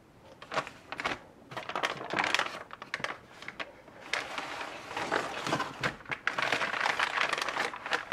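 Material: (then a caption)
Paper. Fingertips with painted nails rub, smooth and crinkle a large crumpled sheet of brown kraft wrapping paper lying flat on a wooden table. The result is a close, dry stream of crackling and rustling in uneven bursts, bright and papery with almost no low end. It swells and fades but never stops for the whole clip.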